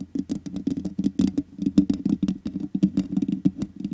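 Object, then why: Metal mesh microphone grille tapped and scratched with nails. Long nails tap and scratch the black metal mesh grille on the hollow head of a large USB condenser microphone. The result is a dense run of quick, short taps and scrapes with a low, hollow resonance around 200–300 Hz.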